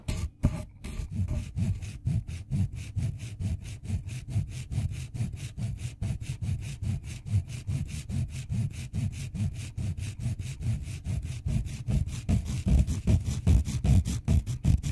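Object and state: Colored pencil filed on a steel file.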